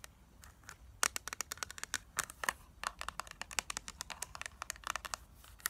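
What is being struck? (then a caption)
Plastic eyeshadow palette. Long nails tap and scratch the clear plastic lid and printed back of a flat rectangular eyeshadow palette, a hollow case with a black plastic base full of pressed shadows. About thirty quick, sharp, bright clicks land in an irregular rhythm, with faint scratchy rustling between them. Each click dies out almost instantly.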